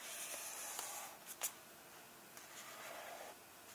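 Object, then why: Paper pages of a hardcover book. Fingertips and nails rub and tap the paper pages of an open hardcover book lying on the same illustrated spread. A soft, bright, hissy rustle runs throughout, broken by three quick, dry taps or scratches. There is no low-end weight.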